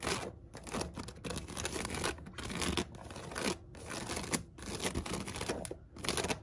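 Long nails scratch and tap across the braided seagrass upper band of a large, hollow woven seagrass and cotton rope basket with a white rope base. The result is dense, dry crackling and rustling scrapes that reach into high, bright tones, broken by short quiet gaps between strokes.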